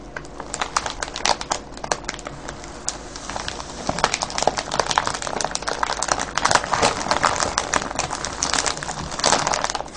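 Fingertips scratch and crinkle a clear cellophane bag full of foil-wrapped candies, producing dense, bright crackling with rapid sharp snaps throughout. The crinkling grows busier and louder after about four seconds and continues steadily to the end.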